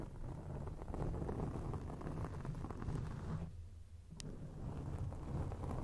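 Long acrylic rainbow nails scratch and rub a grey foam windscreen on a microphone. The result is a dense, muffled rumbling scrape concentrated in the low end, with a brief quieter lull near the end broken by a sharp, bright tick before the rubbing resumes.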